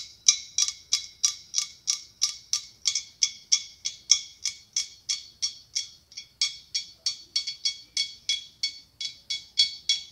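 Long acrylic nails tap and click on the ribs of a large, hollow, white blown-glass pumpkin held in the hand. The result is a fast, slightly uneven run of about 33 sharp, bright glassy ticks, each with a brief ringing tone that dies away almost at once.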